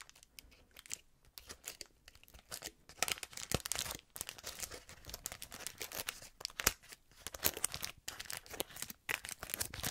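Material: Cellophane.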